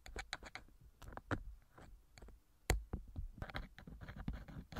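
A thin metal ear pick scrapes inside the right silicone ear cover of a TASCAM microphone in many small, irregular scratching strokes. Each stroke is a short, dry rasp with a deep low thump beneath it and brief bright ticks. One sharper scrape stands out near the middle.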